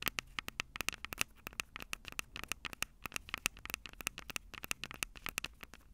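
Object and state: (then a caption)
Fingernails tapping recorder microphone heads. Long purple nails tap and scratch the two silver metal mic capsules on the plastic body of a Tascam DR-05 handheld recorder. Rapid, dense, sharp clicks and scrapes with bright highs and almost no low end, each dying away instantly.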